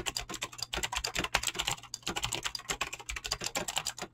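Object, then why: Mechanical keyboard with clicky switches and PBT plastic keycaps. Fingertips type fast on a Razer BlackWidow mechanical keyboard with clicky green switches and pink-blue dyed PBT plastic keycaps. A rapid, steady stream of sharp, bright clicks sounds, each dying away almost instantly. A faint low hum runs underneath.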